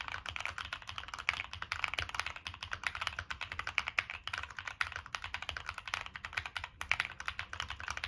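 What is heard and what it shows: Continuous fingertip typing on a Monsgeek M1 mechanical keyboard with a black aluminum case, plastic keycaps and NK Cream switches. Rapid, closely spaced keystrokes give bright, dry clacks that stop instantly with no ring, running as a steady, even stream.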